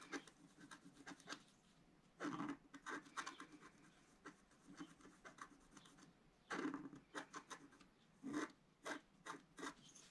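A wooden stylus scratches a small planet into a flat black-coated scratch-art card held flat by one hand. Short, dry, rasping strokes come in quick bursts separated by brief pauses, with a few louder, longer scrapes standing out. The sound is quiet, with a bright scratchy edge.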